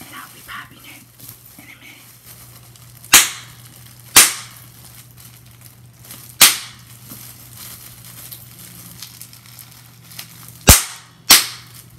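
A large clear sheet of air-filled plastic bubble wrap is held up and squeezed with long-nailed fingers to pop the bubbles. Five sharp, bright pops stand out over quiet crinkling and soft plastic handling, each cracking and fading almost at once.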